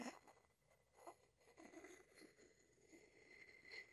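A wooden pestle is rubbed against the outside of a hollow wooden mortar. The result is a quiet, continuous dry scraping and rubbing with soft swells in loudness, a steady faint tone near 2 kHz, and almost no low end.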